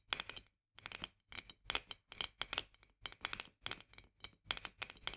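Long nails tap and scratch rapidly on the metal lid and upper glass of a full glass jar of mandarin marmalade held in both hands. The sound is quick, bright, clicky bursts with a dry scraping texture and almost no ring, separated by short pauses.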